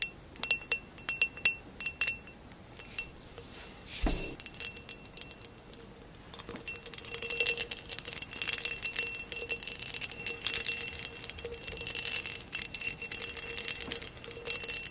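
Long acrylic nails tap and scratch the textured sides of a hollow amber glass vase with a woven relief pattern. Bright, sharp clicks and clinks come in quick bursts, with a dull thump near the four-second mark, then denser scratchy tapping fills the rest of the clip.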